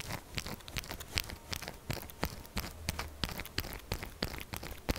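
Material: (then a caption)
Soap. A pink textured solid soap bar is held tilted while long nails scratch and tap quickly on its faces and edges. The result is a dense run of sharp, dry, crunchy clicks and scrapes with bright highs and a low thump beneath.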